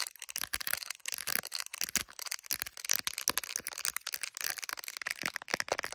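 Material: Plastic.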